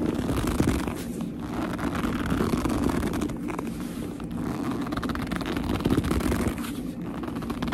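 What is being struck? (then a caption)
Leather handbag. Fingers with long nails squeeze and rub a black leather handbag, producing a steady stream of squeaky gripping and creaking with low rubbing texture. The sound stays dense and continuous throughout, with no clear pauses between squeezes.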